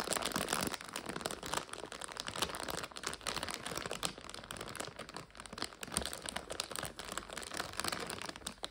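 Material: Plastic.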